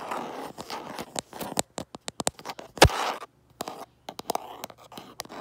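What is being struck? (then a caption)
Smartphone in a plastic case. Fingertips and nails scratch and scrape the back of a smartphone in a light plastic case held up to a mirror. Soft rasping scrapes mix with nineteen quick, dry clicks and taps, with one sharper, louder click near the middle and brief silences between bursts.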